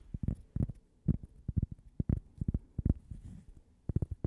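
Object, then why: Cork coaster. A single flat, solid cork coaster shaped like a slice of toast with a logo on it is held beside the mic and tapped with fingertips and nails. A quick, uneven series of soft, dull, low thuds follows, each dying away instantly with no ring and almost nothing bright.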